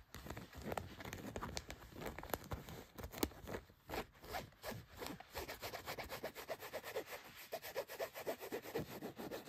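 Long nails and fingertips rub and scratch across blue denim jeans laid flat, working over the back and front pocket areas. The result is a steady, dense run of soft, rough scraping and brushing strokes with a bright fabric hiss. Later, the strokes settle into a quicker, rhythmic scratching pattern.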